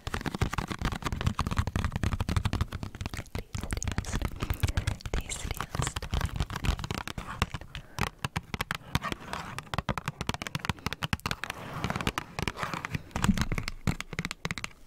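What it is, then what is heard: Cardboard snack box. A small printed cardboard strawberry KitKat box, hollow and apparently still holding its contents, is held in both hands close to the microphone while long nails tap and scratch its surface. The result is a dense run of quick, dry taps and crackly scrapes with a papery, hollow low thump and little ring.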